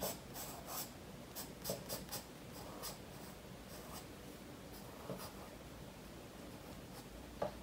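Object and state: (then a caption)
Pencil strokes on a paper sketchbook page. A graphite pencil scratches short, quick strokes across a page of a spiral-bound paper sketchbook, held flat by one hand on a wooden table while shading a koi drawing. The strokes come as soft, dry, bright scratching bursts over a steady low hiss, each fading almost at once.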